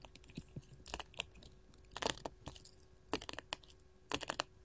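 A sheet of small colored glass mosaic tiles is tapped and scratched with long gold metal filigree finger claws. Quick, dry clicks mix with brief scratchy bursts that are bright and crisp, with little low end. Each sound dies away almost instantly, leaving a quiet background between them.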